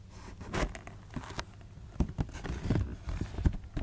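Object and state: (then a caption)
Cardboard shoebox. Long nails tap and scratch the side panel of a closed black cardboard shoebox. Dull, low thuds with almost no ring come in an irregular patter, mixed with soft rustling scratches across the cardboard.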